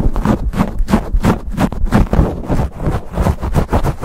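Fingers grip, rub and scratch a black foam windscreen on a silver USB microphone rapidly. The result is a fast, uneven run of muffled, boomy scrapes and thumps, almost all low-pitched with no bright top.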